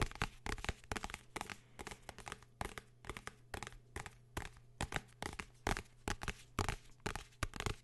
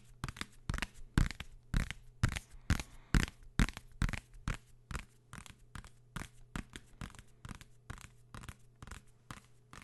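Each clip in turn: First: hardcover book, tapped and scratched. Second: paper travel guide book, tapped.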